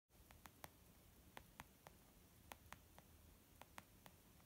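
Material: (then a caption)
Leather. Gentle, slow fingertip tapping on a leather makeup bag gives 12 soft, short taps. Each is a brief dry tick with a brighter click, spread unevenly over a quiet background of low hiss and rumble.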